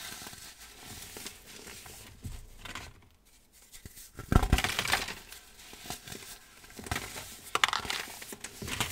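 Both hands squeeze and crumble small solid clumps of loose, dry, green-dyed baking soda between the fingers. Soft, gritty crunching and crackling rise and fall, with a quiet pause near three seconds. A sharp, louder crunch follows at about four seconds, then more bright, powdery crumbles.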